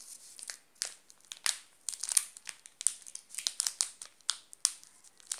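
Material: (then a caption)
Plastic. A flat hand presses and fingers crinkle the shiny yellow plastic wrapper of a sealed, full Garoto Cores chocolate bar. A quick series of sharp, bright crackles and rustles is heard, each snap dying away almost instantly with almost no low end, separated by brief quiet gaps.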